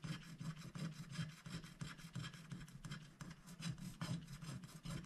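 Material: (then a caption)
Coated paper. A wooden stylus scratches a flower shape into a black-coated scratch-art paper sticker sheet held flat by one hand, using dense back-and-forth strokes. The result is a steady run of quick, slightly uneven rasping scrapes, about three per second, with a bright gritty texture over a low buzzing undertone.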